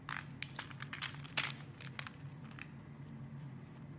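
A metal blade shaves and cuts the surface of a solid yellow soap bar held in hand, making a series of crisp, crunchy scraping and crackling strokes. The short bright bursts come in quick succession over a steady low hum.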